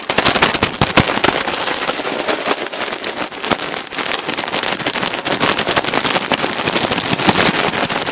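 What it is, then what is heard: Plastic bag of cotton balls. A large clear plastic bag full of cotton balls, with a green logo, is squeezed and crinkled with both hands right next to the mic. It makes a dense, continuous stream of sharp, bright crackles and rustles with little low end. The sound stays busy and fairly even from start to finish.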